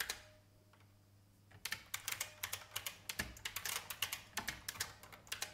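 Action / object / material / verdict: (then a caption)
tap / plastic mechanical keyboard / plastic / none. Fast fingertip typing on a vintage beige IBM mechanical keyboard with plastic keys. After a quiet pause of about one and a half seconds, a rapid run of sharp, bright plastic clacks follows, each dying away almost instantly.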